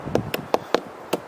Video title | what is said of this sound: Hunting for fatwood.. | the ones that sound a little bit dense, they are the ones that contain the fatwood